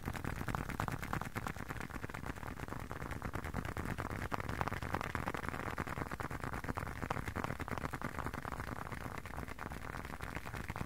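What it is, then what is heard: Leather wallet. A hand-sized, closed blue leather long wallet is tapped on its edge and face with fingertips and short nails. The result is a fast, steady stream of soft, dull taps with a low, muffled body and almost no ring.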